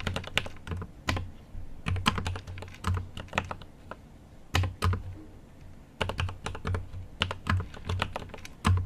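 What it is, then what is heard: Mechanical keyboard with plastic keycaps. A GMMK Pro mechanical keyboard with an aluminum case and plastic keycaps is typed on with the fingertips of both hands. Its continuous typing taps come as quick, short clacks with a deep low thock under each key and bright clicky tops. The bursts of keystrokes are separated by brief pauses.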